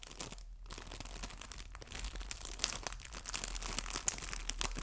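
A small clear cellophane bag full of artificial fabric maple leaves is squeezed and crinkled by fingertips and nails. The result is a steady, dense crinkling and crackling with bright, high, sharp snaps, briefly easing around half a second and again near 1.7 seconds before growing busier toward the end.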